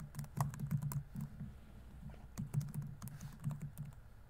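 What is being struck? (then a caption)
Plastic laptop keyboard. Fingertips rapidly tap the plastic keys of a laptop keyboard on a grey laptop body. The result is a quick, irregular patter of soft, dull clicks with a low thump under each keystroke, separated by brief pauses between bursts.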